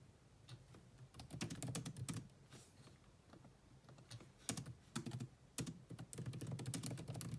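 Fast two-handed typing with long nails and fingertips on a grey laptop keyboard with black plastic keys in a metal-look chassis. Dense bursts of quick, clicky taps come in irregular flurries, with short pauses between them. Each tap has a bright edge over a low thud.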